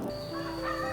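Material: Nothing is struck.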